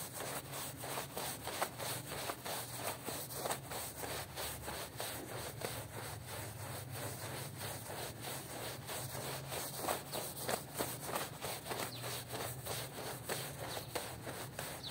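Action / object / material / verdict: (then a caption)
scrape / woven textile rug scrubbed with a stiff broom / textile / none. A long-handled broom with green plastic bristles scrubs back and forth across a small rectangular woven rug lying flat on a stone floor, the rug wet and covered in soap foam. It makes a steady run of rhythmic, bristly, wet swishing strokes, about one and a half per second, with bright hiss over a constant low hum.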